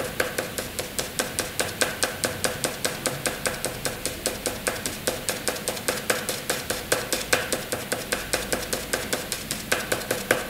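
A graphite pencil shades a box on a flat white drawing sheet with quick, light strokes, giving a steady run of about fifty short, dry scratches on the paper. Each stroke is a brief, bright rasp with a faint tone near 530 Hz, repeating at roughly two or three per second with a slightly uneven rhythm.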